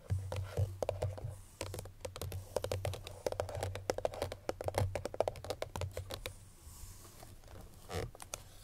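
Long nails tap quickly on the front face of a hollow cream paperboard Chloé perfume box with the bottle inside, making a rapid run of dry, hollow clicks with a papery knock around 600 Hz. The taps stop almost instantly, and a steady low hum sits underneath. The tapping thins out toward the end before a final few taps.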